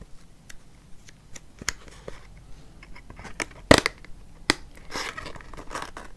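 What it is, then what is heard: Paperboard product box. Long nails scratch and tap on a small, hollow, white printed paperboard cosmetics box for Embryolisse Hydra-Masque held in the hand. Sharp, dry scratches and clicks are heard, with a louder crackling burst in the middle and softer, bright rustling scrapes toward the end.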